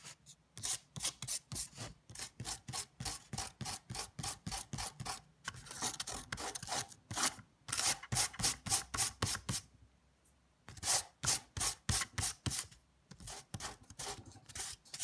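A fingertip rubs and scratches across a flat sheet of thick watercolor paper, painted blue and purple with dried salt crystals on its surface and lying on a table, brushing the salt off. Quick, bright, gritty rasping strokes come in rapid, uneven runs, with a few denser stretches and brief pauses between bursts.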